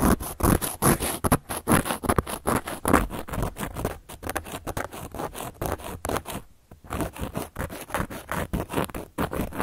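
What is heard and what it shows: The tip of a handheld carving tool scratches and carves into a round, flat, solid cork coaster. Quick, dry scraping strokes repeat in an uneven rhythm, each one short and gritty with a soft low body and no ring.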